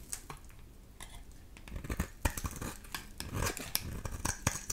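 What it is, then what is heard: Dry bar soap being shaved. A solid, dry amber-yellow bar of soap, held in the hand, is shaved into curls with a utility knife blade. The scraping cut gives a run of crisp, dry rasps and small snapping scrapes over a faint low background. The scrapes grow louder and denser partway through.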